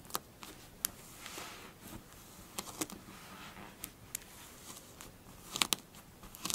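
Long blue fingernails scratch and rake across a smooth, flattened surface of pink kinetic sand. The result is soft, bright crunching and crackling with about a dozen sharp, clicky onsets spread over a quiet hiss of grainy scraping.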